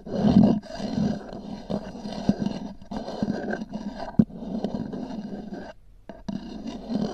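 Long nails scratch the textured cover of a small, hollow, black oval EVA hard-shell zip case. The result is a dense, low, rumbling scrape in uneven bursts, with a few sharper clicks and a brief pause near the end.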